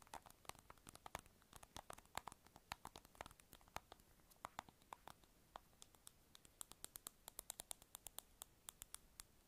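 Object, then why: Small round plastic lip balm container tapped with fingernails. Long acrylic nails rapidly tap a small, hollow, light-blue round plastic lip balm container held in the fingers. The result is a quiet, irregular stream of about sixty short, dry clicks with a hollow midrange knock near 800 Hz and bright, crisp tops. The taps die away instantly and cluster more densely toward the end.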